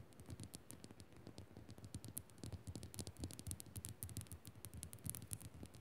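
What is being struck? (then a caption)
Rock-salt crystal lamp. Long nails scratch and tap quickly on the rough surface of a small, solid pink Himalayan rock-salt crystal lamp. The result is a quiet, dense stream of gritty scrapes and short, dry taps with crisp high clicks over a soft, low body, each sound dying away almost at once.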